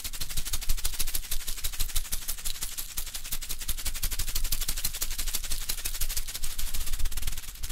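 A flat, thin red folded paper greeting card with raised silver glitter letters spelling LOVE is held up and scratched and rubbed with fingernails over the textured letters. Rapid, dense, crackly scratching ticks run steadily for about eight seconds, bright on top with a soft low thump underneath.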